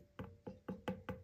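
Five quick taps on the trimmed base of a leather-hard clay pot make short, dull, woody knocks with a low pitch that die away almost at once. The wall is judged thin, because the tapping now sends vibration into the thumb holding the pot.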